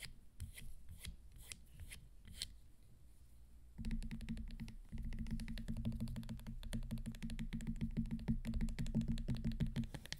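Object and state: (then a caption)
Leather fringed high-heel sandal. Long nails tap and scratch along the black sole, straps and fringe of a teal, orange and gold fringed leather high-heel sandal held in the hands. Sparse, crisp taps give way after a few seconds to a dense, rapid run of scratching and clicking with a low, thick body and bright edges.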